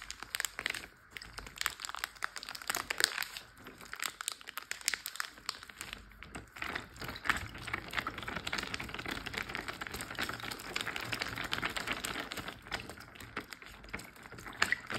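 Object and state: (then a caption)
Water-filled plastic zip bag. A large clear plastic Ziploc bag full of water is tapped and scratched with fingertips and short nails. The result is a dense, continuous run of quick crinkly taps and scratchy rustles, bright and mostly mid-to-high with very little low end. Each tiny click dies away almost instantly.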